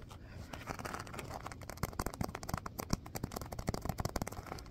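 A small stitched purple faux-leather (vinyl) pouch, filled like a hacky sack, is held in both hands and scratched and tapped with fingernails. A soft, continuous scratchy rustle is broken by many quick, dry clicks and taps that stop short with no ring.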